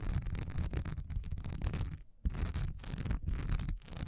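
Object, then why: Textured wax pillar candle. Long nails scratch fast across a solid cream, honeycomb-textured wax pillar candle with a diamond pattern, standing upright. The result is a dense, raspy scratching with bright hiss over a low, thumpy rumble. It breaks off briefly near the middle, then resumes in quick, uneven bursts.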